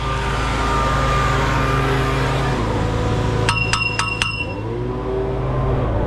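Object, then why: Steel concrete pump boom pipe. A steel concrete pump boom pipe is tapped by hand after the cleaning sponge returns. Four sharp metallic rings, pitched near 2.7 kHz with bright overtones, cut through a steady low engine drone and fade over about a second.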